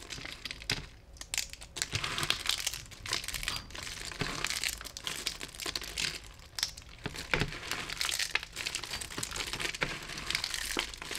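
Bare fingertips press, rub and scrunch through a large tray-wide pile of thin, brittle, dry soap flakes in lilac, grey and cream. The result is a steady stream of crisp, bright crunching and crinkling, with sharper crackles spiking out of the dense rustle as the flakes grind together.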